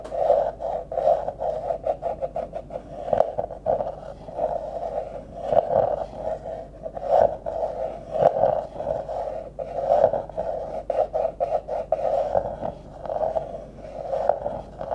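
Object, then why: Thin-walled plastic drinking cup. A thin yellow pencil-like stick rapidly scratches and taps the surface of a medium, thin-walled, hollow, empty, transparent plastic drinking cup held sideways near the mic. The result is a continuous run of quick, dry taps and scrapes with a hollow, resonant tone centered around 630 Hz that swells and fades in waves.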